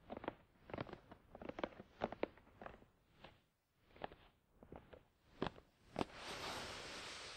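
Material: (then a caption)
Cardboard. A closed, hollow, glossy black printed cardboard Tascam DR-100 mkII product box resting on a towel is tapped and scratched with the fingertips of both hands. Quick, irregular, dull hollow taps come in loose clusters with short pauses between them. The clip ends in a steady, bright scratching rustle across the box surface.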